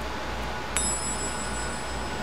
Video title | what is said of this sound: Hydraulic Pump Rebuild PT3 | that's good because it means everything's solid